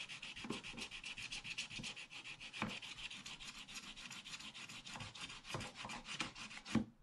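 Fingertips rub back and forth over a partly scratched, black-coated scratch-art paper page in a book lying flat, brushing off flakes of the coating. A steady, bright, papery rubbing hiss pulses with rapid strokes, broken by a few louder, duller brushing thumps.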